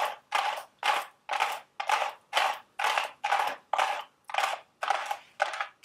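Long red acrylic nails tap and scratch the sides of a small, hollow, printed cardboard Dubble Bubble gum Easter eggs candy box standing on a table. The result is a steady run of short, scratchy, papery bursts, about two per second, each with a hollow mid tone near 800 Hz and a bright hiss that fades quickly into silence between strokes.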